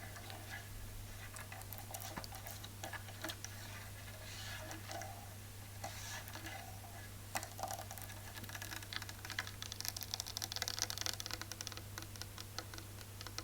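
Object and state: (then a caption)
Real wooden chair. Fingernails tap quickly on a painted real-wood chair, as opposed to faux wood, giving a dense run of short, dry, bright clicks over a steady low hum. The tapping grows sharper and busier toward the end.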